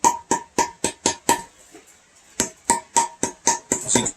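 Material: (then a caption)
Wood. Knuckles knock on a live-edge wood slab that has dried for about two years: six quick, dry knocks, a short pause, then another steady run of knocks. Each knock is short and hollow with a woody tone around 930 Hz and almost no ring. The hollow sound shows the slab is dry, with very little moisture left and much lighter than before.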